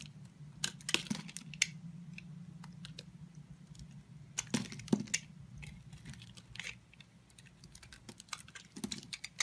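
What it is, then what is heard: Soap bar being scraped. A solid blue soap bar held in the hand is shaved and scraped with a red-handled utility knife blade, and chips pile up. Short, dry, bright scraping clicks come in irregular bursts over a low steady hum.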